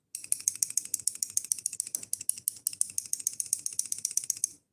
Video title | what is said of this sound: Bored #3 | the stop pin is broken which is why when you shake it makes that sound because the blade moves